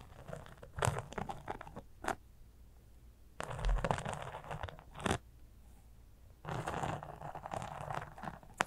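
A small, flat, soft fabric cosmetic pouch covered in glitter sequins, with a zipper and apparently empty, is scratched with long acrylic nails. Bursts of dry, crunchy scratching come in uneven clusters separated by quiet gaps, with a few short, sharp scrapes between them.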